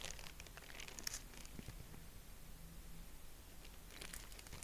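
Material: Tissue paper.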